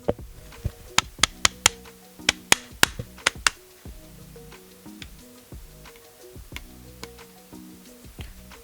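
Someone taps on the mostly metal body of an Ulanzi MT080 auto tripod, producing a quick series of sharp, bright clicks that die away instantly with no ringing. The taps cluster in the first few seconds, then thin out into fainter ones over soft background music.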